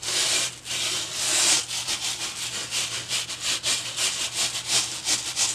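A boar-bristle hair brush held in one hand is brushed back and forth across a flat white foam sheet lying on a table. It makes a bright, airy rubbing and scratching hiss, starting as a longer sweep and settling into quick, rhythmic strokes over a faint steady low hum.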